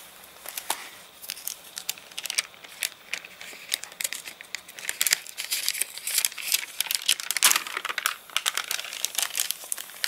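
Fingers turn a stiff page of a thick, rain-dried paper catalogue with water-warped pages and rub the crinkled sheets lying flat. The result is a dense run of sharp, bright crinkling and crackling bursts with almost no low end, rising to its loudest cluster near the middle of the clip.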